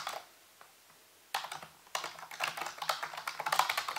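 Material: Plastic.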